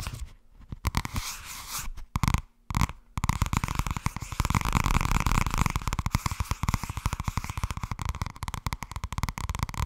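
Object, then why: Thin softcover paperback book. Long red nails rapidly tap and scratch the cover and spine of a thin purple softcover paperback held at an angle. Dense, dry, low-heavy taps blend with papery scratching, briefly pause near the start, then continue as a fast, steady patter.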